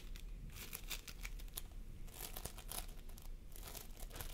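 Fingertips of both hands press and squish a pastel mound of floam sculpting foam made of polystyrene beads, resting on a wooden table. The result is a steady stream of dense, crinkly crackles and soft sticky squelches, with brighter bursts of popping beads throughout.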